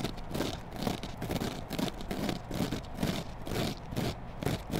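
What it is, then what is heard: Foam kitchen sponge with scouring pad, scratched. A dry, hand-sized rectangular kitchen sponge of yellow polyurethane foam with a green abrasive scouring layer is held in one hand and scratched and squeezed with long black acrylic nails, near a small pink microphone that is not touched. Soft, crackly scraping rasps come in loose, uneven strokes about twice a second, each with a muffled low body and a faint bright hiss. The strokes stop short with no ringing.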